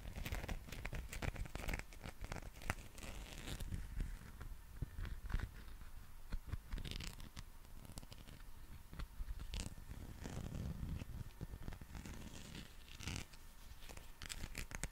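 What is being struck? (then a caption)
Soft textured rubber dinosaur toy. A textured soft rubber dinosaur figure is gripped, bent and rubbed with fingers close to the microphone for about 15 seconds. It makes continuous crinkly, tearing-like friction sounds with dense, quick crackles that flash up into bright highs. A soft, low-heavy rumble runs underneath throughout.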